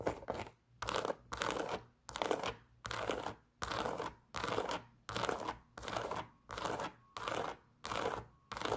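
A hollow, empty white Adidas Superstar sneaker with a leather upper, black stripes and a rubber shell toe is held in the hand and scratched and tapped with long pink nails. Short bursts of dry, crinkly scratching repeat at a steady pace, with quiet gaps between them. The sound sits mostly in the mid range, with little low end and no ringing after each burst.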